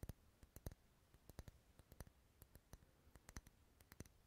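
Wax candles resting in a bowl as decoration are tapped in a quick, irregular series of about twenty sharp, dense clicks. Each click is brief and dry with almost no ring, over a quiet background.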